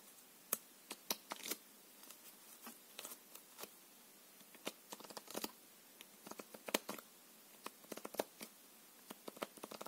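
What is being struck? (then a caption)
Deck of plastic-coated paper playing cards. A full deck of thin plastic-coated paper playing cards is held in both hands and riffled and shuffled with the fingers. About 29 quiet, sharp card snaps and flutters come at irregular intervals, with a bright, papery crispness and almost no low end, each dying away almost instantly.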